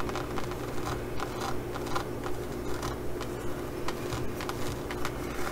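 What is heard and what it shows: Long glitter nails scratch and tap across a green faux leather pouch embossed with small pyramid studs, making about a dozen soft, short clicks at a fairly steady pace. The scratchy taps sit over a constant low hum.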